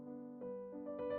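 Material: Nothing is struck.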